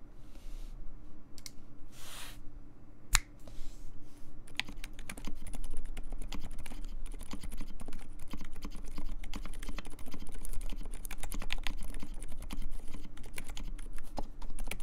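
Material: Plastic.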